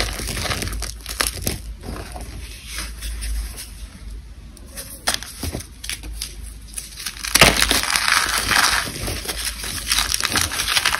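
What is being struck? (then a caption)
Dried cornstarch paste flakes. Fingers with long blue nails dig into a heap of dry, brittle cornstarch paste flakes and a small solid chunk, grabbing and crushing them. Dense, bright crackling and crunching runs throughout with sharp snaps scattered in. It grows louder and fuller in the second half as the flakes crumble apart.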